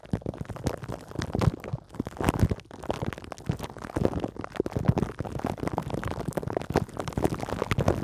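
Long green nails scratch continuously with both hands across a hollow metal mesh microphone head wrapped in clear plastic film. The result is a dense, close, muffled stream of crinkling, rubbing scratches with soft thumps, heavy in the low end and with little bright content.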